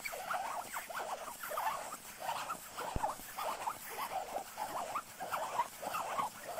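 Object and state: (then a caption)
Nylon puffer jacket. Fingertips scratch and rub the shell of a soft, padded black quilted nylon down puffer jacket. The result is quiet, papery rustling and scratching in uneven bursts that repeat roughly every half second, centered in the mid range. A single sharp click stands out near the middle.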